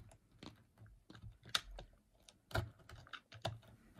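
A green-handled utility knife cuts and shaves the edge of a solid, dry, brown rectangular bar of soap held over a white table. About eight short, dry, crisp scraping cuts with bright crackle come through clearly, each dying away almost at once. Quiet gaps sit between them.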